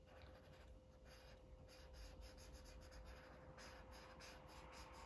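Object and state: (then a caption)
Felt-tip marker coloring on paper. A felt-tip marker rubs rapidly back and forth across a thin white paper coloring book page lying flat. The result is a soft, continuous scratchy scribbling with repeated bright bursts of friction over a low background hum and a steady faint tone.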